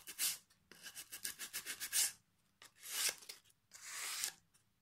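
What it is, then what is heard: Pine board being sanded. Sandpaper held in the fingers is rubbed along the edge of a solid pine plank with a knot. A quick run of short, bright, rasping strokes is followed by two longer, smoother scraping sweeps, with brief silences between them.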